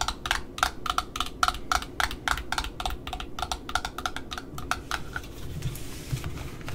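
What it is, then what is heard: Cardboard end disc of a ribbon spool. Long nails tap and scratch the cardboard end disc and its rim on a black Offray ribbon spool. Quick, irregular, dry clicks with no ring, each carrying a crisp midrange knock and bright tops, over a soft low rumble. In the final second or so the taps thin out into lighter scratching.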